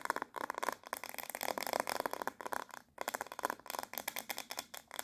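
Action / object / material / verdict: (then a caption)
tap / hard plastic paddle hairbrush back / hard plastic / none. Long nails rapidly tap and scratch the smooth back of a handheld black glossy hard plastic paddle hairbrush with a hollow-backed head. The result is a fast stream of dry, clicky taps and scratchy brushing centered around 950 Hz, with bright edges and no low end. The sound breaks off briefly a few times, most clearly just before the 3-second mark.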